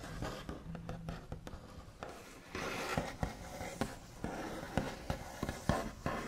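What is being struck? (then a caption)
Wooden tabletop. Backs of fingernails on both hands scratch, trace and tap across a large solid wooden tabletop with a smooth white finish. About fifteen short, dull knocks stand out over a continuous soft, low scratching rustle, each tap dying away almost instantly.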